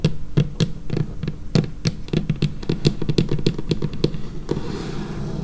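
Long painted fingernails of both hands tap rapidly on a large, flat, solid dark-brown laminated wooden tabletop, close up. Short, dry, low wooden knocks with brief bright clicks come in a quick, uneven patter with almost no ring, then fade into a softer, fainter texture at the end.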